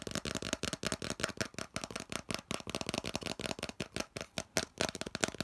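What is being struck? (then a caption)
Molded plastic part. Fingernails tap and scratch quickly across the flat face and edges of a hollow, molded yellow plastic piece. About 27 short, dry, clicky hits with scratchy rasps sound in a fast, uneven rhythm, each stopping almost instantly. The hollow body adds a light resonance around 650 Hz under a bright, crackly top.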